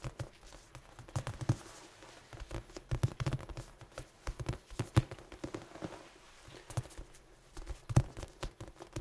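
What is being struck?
Soft foam dice cube.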